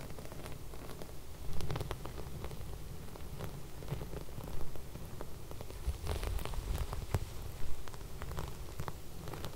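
Fingertips and long red nails rub and scratch flat silver sequin fabric. The result is a steady, soft, low rustling bed with scattered bright clicks and ticks, swelling into a few louder brushing passes.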